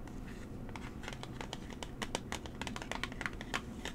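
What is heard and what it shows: A small, hollow, rectangular mint-green cardboard product box is held in the hands and tapped and scratched with long nails. Quick, irregular, crisp clicks and scratchy strokes sound over a steady low hum. Each tap is dry and dies away at once.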